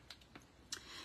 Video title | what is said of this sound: Paint a Mermaid on a Recycled Cracker Box | You can hear that little metal ball shaking that up